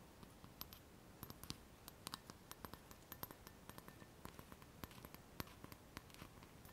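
Long fingernails tap around the rim and side of an empty, hollow clear glass cup with a handle, held and tilted in the hands. A quick, irregular run of light, bright clicks sounds over a quiet background hiss, each tap dying away almost instantly with only a faint glassy tinkle.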